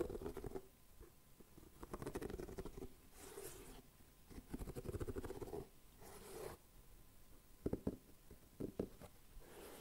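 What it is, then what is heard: Rubber shoe sole. Fingertips and nails scratch and rub the treaded rubber sole of a leather-look boot held upside down, while the second boot stands nearby untouched. Quiet, soft scratchy rustling comes in uneven bursts with a muffled low-mid body, sharpening into a few brief louder scrapes near the end, over a faint steady tone.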